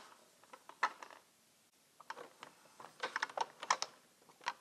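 Long red-painted nails tap and click on the labelled lids of small round plastic jars, some full of colored resin diamonds and some empty, sitting in a rectangular clear plastic organizer tray. The result is a quiet series of sharp, dry plastic clicks with a brief pause partway through. Each click is short and light, with no low end and a bright edge.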